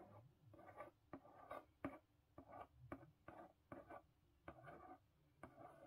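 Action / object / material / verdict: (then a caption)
tap / corrugated cardboard box / cardboard / none. Long pink nails tap and trace over the lid of a closed, medium-sized blue corrugated cardboard Book of the Month box, possibly hollow or partly filled. About ten quiet, dull taps land with soft scratchy tracing strokes between them, mostly in the mid range and dying away almost at once.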